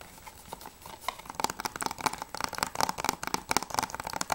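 A closed, hollow plastic PS3 game case (Journey Collector's Edition) is held upright while fingertips and nails tap quickly on its front cover. The result is a fast, irregular run of sharp, dry clicks with a hollow mid-range ring around 860 Hz and bright, crinkly edges. The taps start sparse and soft, then grow denser and louder.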